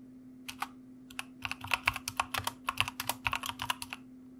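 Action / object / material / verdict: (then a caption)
tap / plastic mechanical keyboard / plastic / none. Fingertips type rapidly on a white plastic mechanical keyboard, with the hands resting on a wrist rest. The result is a fast run of sharp, bright key clicks, some louder than others, over a faint steady low hum.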